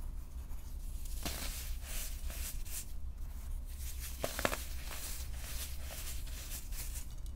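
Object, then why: Baking soda balls in a glass bowl. Small, solid, purple-dyed dried baking soda balls and crumbled powder in a clear glass bowl are crushed, squeezed and sifted between fingertips with short painted nails. The result is quiet, dry, gritty crunching with soft bright crackles and a couple of sharper snaps near the middle, all over a steady low hum.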